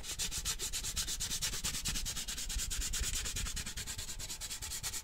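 Fingertips and nails rub and scratch the side of a large cylindrical printed metal Christmas cheese-puff tin with a puppy print, held up close with its lid on and likely full. Rapid, steady strokes make a continuous, breathy sanding hiss with a low rumble underneath.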